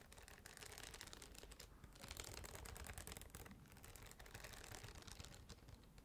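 Long nails quickly scratch and tap the glossy printed hard cardboard cover of a spiral-bound agenda notebook held upright in one hand. The result is a dense, continuous run of rapid dry scratches and clicks with a bright, hissy top and a soft low rumble underneath. The level stays fairly steady throughout.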